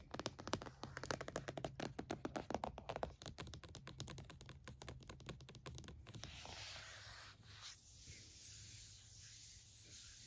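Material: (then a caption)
Plastic. Fingertips tap rapidly on the lid and front edge of a closed, purple plastic-cased laptop, making quick, dry clicks over a steady low hum. After about six seconds the tapping stops, and a palm rubs across the plastic surface with a soft, hissing swish.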